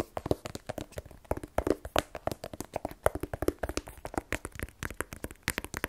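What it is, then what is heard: Cardboard phone box. A small black rigid cardboard iPhone 12 Pro box, hollow with the phone inside, is held in one hand and tapped with the fingernails of the other. Some 39 quick, dry, hollow taps come in an uneven, rapid stream, with a boxy low-mid tone. Each tap dies away almost instantly.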